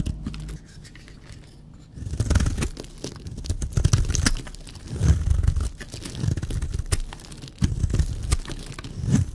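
A blade scrapes and shaves the surface of a solid, dry purple baby soap bar. Close, low-heavy crunching and scraping strokes come in uneven bursts, with sharp bright ticks of the blade edge. The first two seconds are quieter before steady, louder passes of shaving begin.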